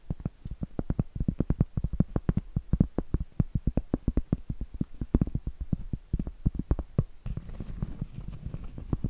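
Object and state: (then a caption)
Cork trivet. Long acrylic nails tap rapidly on the face of a round, flat, solid cork trivet held upright, making a fast run of dull, low, muffled knocks with almost no ring. Toward the end the tapping gives way to a softer, hissing scratch across the cork, mixed with a few more light taps.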